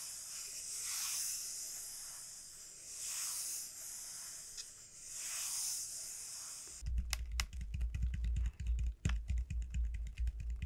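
Long nails scratch along the hard, hollow shell of a large, elongated dried bottle gourd, making slow swells of bright, airy hiss. After about seven seconds they switch to rapid tapping, with quick, dry knocks carrying a deep, hollow low-end thump.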